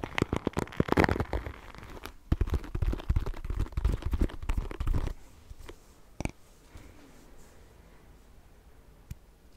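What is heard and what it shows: Long painted fingernails scratch and tap the bristles and solid wooden handle and back of a small wooden paddle hairbrush held close to the microphone. Dense, crackly scratching and quick taps fill the first five seconds, then the sound drops to a quiet rustle broken by a few sharp, isolated taps.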